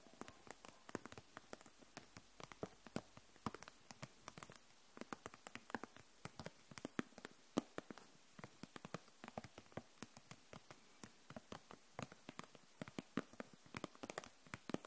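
Long nails tap quickly on a row of plastic felt-tip markers in a clear plastic package, held upright. A steady stream of quiet, rapid, dry plastic clicks with a bright edge follows, each dying away almost instantly.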